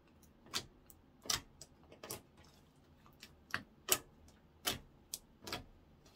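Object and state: Clear slime.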